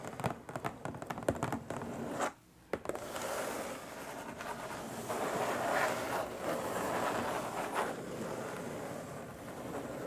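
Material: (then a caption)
Cardboard. Long nails scratch and drag across the lid of a long, flat, hollow printed cardboard box. Quick, rough scratches in the first two seconds give way to a brief silence, then a steady, dense dry scraping that continues to the end.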